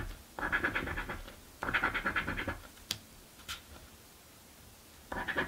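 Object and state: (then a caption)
Coin scratching a paper lottery ticket. A coin scratches the grid of a paper crossword scratch lottery ticket held flat by the other hand. Three bursts of rapid, raspy scratching sit in the mid to high range, with two brief sharp ticks between the second and third bursts. Quiet pauses separate each burst.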